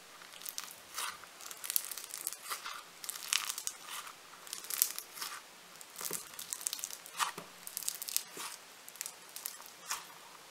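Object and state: Foam bead clay (floam) squeezed.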